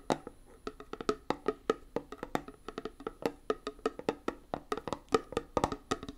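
A small, closed, round metal tin of hand putty with a "Hand Gum" printed lid is held in one hand and tapped quickly on the lid with long nails. The result is a fast, uneven run of dry, clicky taps with a hollow, mid-pitched knock and almost no ring or low end.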